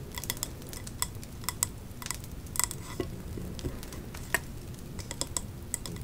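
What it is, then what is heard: Glass candle jar tapped with fingernails. Long nails tap and scratch the printed glass side of a hand-held, three-wick glass candle jar with a leaf design and a metal lid, full of wax. Quick, sharp clicks with a bright, high glassy ping come at an uneven pace over a soft, continuous scratchy rustle and low background rumble.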